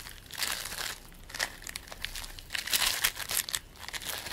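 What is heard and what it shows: A lump of purple and white play foam, made of polystyrene beads, is held above a plate while both hands stretch, pull and squeeze it with the fingers. The result is a dense, bright crackling and crinkling, with bursts of tiny pops that swell and fade as the beads are worked, and almost no low end.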